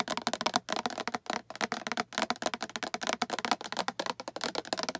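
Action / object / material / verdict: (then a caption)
tap / plastic storage box tapped with fingernails / plastic / none. Long acrylic nails tap rapidly on a hollow, translucent green plastic storage box with a patterned side and a latch handle. The result is a quick, uneven run of crisp, hollow plastic clicks with a midrange knock near 720 Hz and bright edges, each dying away almost at once.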